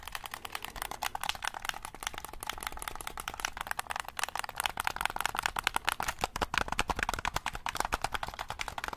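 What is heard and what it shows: A black hollow plastic game controller sits near the mic while fingertips rapidly click its buttons and tap its casing. The result is a dense stream of short, dry plastic clicks with bright, crisp tops and almost no ring.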